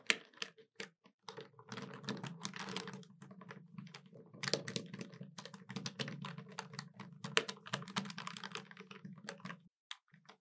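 Long white nails tap quickly on the keys of a hollow black plastic desktop calculator, making a dense run of short, sharp clicks. The clicks are bright, with a steady low hum underneath and a brief pause near the end.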